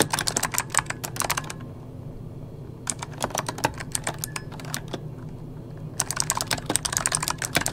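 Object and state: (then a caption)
Plastic mechanical keyboard typing. Fingertips of both hands type on an RGB-backlit mechanical keyboard with plastic keycaps resting on a wooden desk. Rapid, bright, clacky keystrokes come in three bursts, separated by short pauses. A faint low background hum runs underneath throughout.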